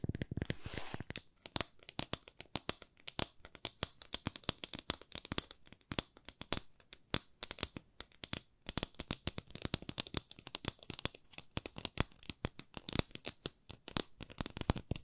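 A long, thin, solid wooden ruler, held at both ends and shown flat and edge-on, is tapped and scratched with long nails. A brief bright, scratchy rustle at the start gives way to a dense, irregular run of quick, dry, high clicks and taps that stop almost instantly, with faint scratching between them.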